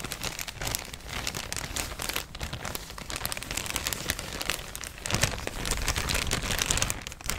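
A thin, empty, yellow printed plastic shopping bag is crinkled and scratched with fingers and nails. It makes a dense, continuous crackle of bright, rustling clicks over a soft low rumble, growing louder and busier in the last couple of seconds.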